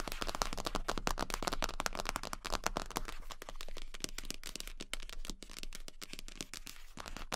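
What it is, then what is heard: Vinyl rubber duck. Long pink acrylic nails tap fast on the head of a large yellow hollow vinyl rubber duck. It makes a rapid, uneven stream of short, sharp clicks with a bright edge over a hollow low body. The taps are dry, with almost no ring after each one.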